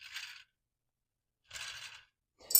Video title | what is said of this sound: Making a better wood arrow for indoor 18 meter part 2 | hear how nice that is and then you can hear this has some flat spot